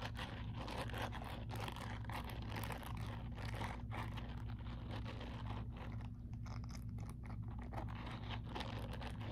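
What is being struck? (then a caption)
Silicone bristle scrubber glove. Fingertips and nails of one hand scratch and rub across the short silicone bristles covering the palm of a grey silicone scrubbing glove worn on the other hand. Dense, crackly, crunchy scratching flickers continuously over a steady low hum, keeping a fairly even level throughout.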